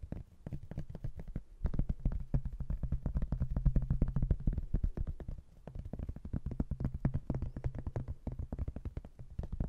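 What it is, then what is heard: Cork-backed hardboard placemat. Fingertips and nails scratch and tap the cork back of a thin, flat cork-backed hardboard placemat about 30 cm wide, then move to its blue laminated edge. The result is a dense, fast patter of soft, dull taps, mostly low and muffled with very short decay, forming an irregular rhythm that dips briefly in level a few times.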